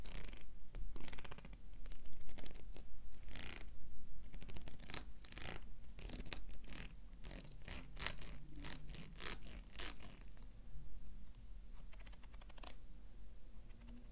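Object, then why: Plastic wide-tooth comb. Fingernails scratch and pluck along the teeth of a large, solid black plastic wide-tooth comb with a handle, held against a blue wig. Bright, dry rasping strokes and quick ticking plucks come in uneven bursts over a steady low hum, with no lingering ring.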